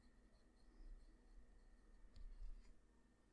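The tip of a black graphite pencil draws short strokes across a character's face on a flat sheet of white drawing paper lying on a surface. Soft, continuous scratching sits over a dull low rumble and grows a little louder near the end before easing off.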